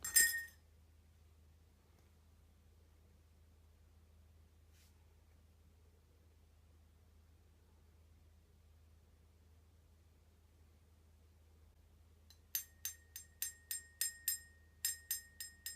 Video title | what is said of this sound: The Hot Chocolate Magic Trick! (The Alassonic Effect) | make a sound that will go up in pitch every time I tap it